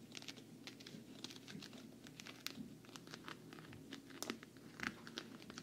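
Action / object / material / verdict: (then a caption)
tap / quilted patent vinyl travel case / patent vinyl / none. Long nails tap and scratch the quilted front of a medium, hollow, black glossy quilted patent-vinyl makeup travel case held close to the mic. It makes a quiet, steady stream of bright, crisp clicks and scratchy crinkles, with a few sharper taps standing out over a soft, low hollow body.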